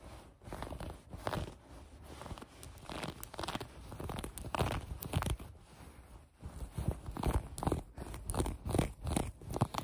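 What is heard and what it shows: Long acrylic nails scratch and bunch a pair of mint green soft fleece sweatpants lying on a table. The result is an irregular run of soft, crunchy scratching and rustling bursts, mostly low and muffled with brief brighter scrapes and no ringing.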